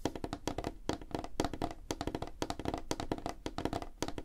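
Fingertips and nails of both hands tap fast on a flat, solid, light wooden tabletop. The result is a rapid, uneven run of short, dry knocks with a hollow tone around 312 Hz, a low thump, and bright clicks from the nails. Each tap dies away almost at once.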